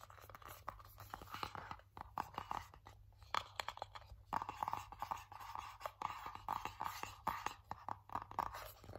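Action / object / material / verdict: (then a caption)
scrape / cardboard box tray / cardboard / none. Fingertips and nails grip, tap and scratch a small, hollow, empty white cardboard lid or tray from Apple packaging. Quiet, dense scratching and crackling mix with rapid dry taps that stop almost instantly, carrying a hollow midrange tone near 1.3 kHz over a steady low hum.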